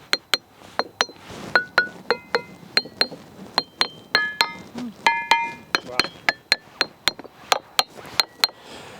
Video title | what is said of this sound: Harmonious Discoveries: Delving into Stone Circles & Ringing Stones | I could hear that ding ding ding ding like a little musical xylophone going on down here